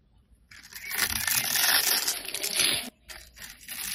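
A metal blade scrapes and cuts thin grid cuts into the surface of a solid red bar of soap with an embossed logo, held in the hand, shaving off crumbly flakes. A bright, dry crunching scrape rises after a short silence and holds steady and loud, then stops abruptly. It gives way to softer, intermittent scrapes.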